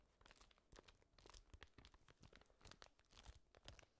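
A thin sheet of white paper is crinkled with the fingertips of gloved hands, then crumpled into a ball close to the microphone. The result is a quiet, continuous run of dense, dry crackles and crunches with bright, sharp edges over a soft low rumble.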